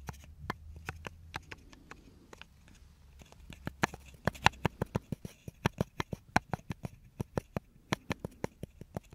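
A small, solid, light wooden block with an engraving, the back of a brush, is held and turned in the hands while it is tapped and scratched with fingertips and nails. About 29 short, dry, clicky taps ring out with almost no decay, soft at first over a low rumble and faint scratching, then louder and more evenly spaced from around four seconds on.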